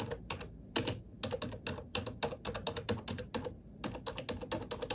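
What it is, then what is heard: Plastic computer keyboard. A glossy black plastic computer keyboard resting on a wooden desk is typed on with fingertips and long painted nails. A steady stream of quick, bright, clacky key taps comes in short bursts with brief pauses, each click crisp and dying away almost at once.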